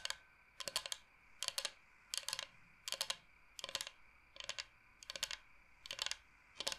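Fingernails tap quickly on a large, flat, solid bamboo cutting board shaped like the state of Michigan. Short bursts of bright, dry clicking repeat at a steady pace with quiet gaps between, each tap stopping almost instantly with no ring or low thump.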